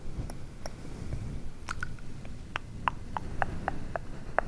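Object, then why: Synthetic fur microphone windscreen. Fingertips and nails of both hands scratch and squish a grey, fluffy synthetic-fur windscreen over a microphone, soft and hollow. A close, low, muffled rustling runs throughout, broken by a string of short, sharp, mid-pitched ticks and squishy pops that come more often toward the end.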